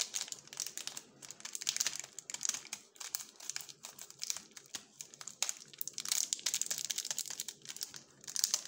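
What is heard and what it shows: Gloved fingers turn, rub and crinkle a sealed purple plastic-film Jumka waffle wrapper with the bar still inside. The result is a continuous run of dense, bright, crackling crinkles with sharp, short-lived snaps and almost no low end.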